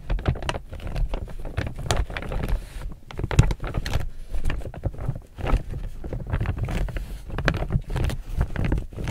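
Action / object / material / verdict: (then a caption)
scrape / laminated polypropylene tote bag / polypropylene / none. A medium chevron-print laminated polypropylene reusable tote bag, hollow and apparently empty, is held upright while fingertips and nails grip and crinkle its glossy surface. It makes a steady run of dense, dry crinkles and quick crackles with a heavy low rustle underneath and brief brighter snaps, each dying away almost at once.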